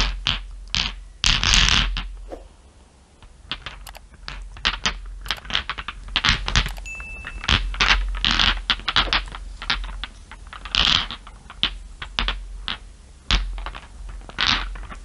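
Long nails tap and scratch small, solid, dark glass marbles resting on fur, making a quick, irregular run of bright, sharp clicks with short scraping rasps between them. Each tap dies away almost at once over a low, steady background hum.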